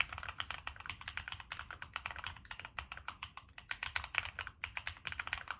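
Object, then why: Mechanical keyboard with plastic keycaps and metal case. Fingertips type steadily on a Monsgeek M1 mechanical keyboard with NK Cream switches, a dark metal case, and purple and black plastic keycaps, making about 37 quick keystrokes. Each press gives a short, bright plastic clack with almost no ring.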